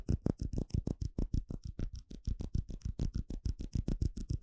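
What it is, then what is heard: Clear plastic cup. Fingertips and nails tap and scratch the sides of a small, hollow, empty clear plastic cup held in the hand. About 30 quick, dry taps come in a fast, uneven run, each a short low thump with a bright clicky edge and no ring.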